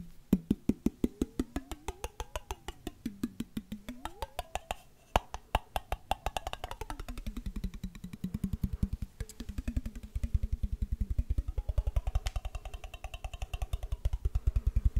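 A clear glass mason jar with a silver metal screw lid, hollow and partly filled with water, is held up close to the microphone and tapped quickly with fingertips and short nails while it is tilted so the water moves inside. The steady stream of short, dry taps carries a hollow, bottle-like tone that glides up and down between roughly 200 and 800 Hz as the water shifts. In the last few seconds the taps settle into a low, bubbly pitch with a brighter ring above it.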